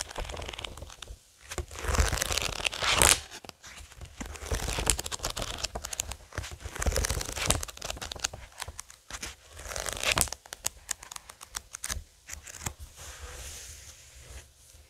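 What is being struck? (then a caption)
Paperback book with glossy card cover. Fingertips tap and scratch the glossy card cover of a thick paperback Watchmen graphic novel lying flat on a wooden table, then flip the cover and pages back. Bright, papery rustles, crinkles and sweeping swishes rise and fall in bursts, with soft low thumps and short clicks between the page turns.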